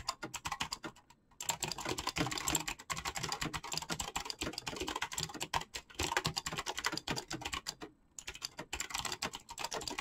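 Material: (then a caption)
Plastic. Fingertips type fast on a black mechanical keyboard with clicky switches and PBT plastic keycaps. It makes a dense run of sharp, bright clacks with very short decay and brief pauses near 1 and 8 seconds.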